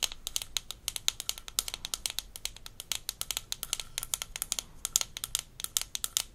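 Long nails tap the rim and base of a small, empty, hollow blue plastic toy rinse cup from a Melissa & Doug Super Smile Dentist Kit and scratch along its sides. About 46 quick, dry, bright clicks sound in an uneven rhythm, each dying away at once with almost no low end or ring, between faint scratchy rustling.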